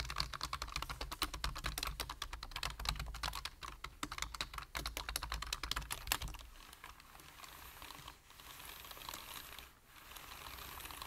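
Fingertips of both hands type rapidly on a full-size black plastic computer keyboard, producing dense, irregular, sharp key taps with bright clicks over a low hum. After about six seconds the tapping fades into a softer, steady wash of quieter key noise, dipping briefly twice before it ends.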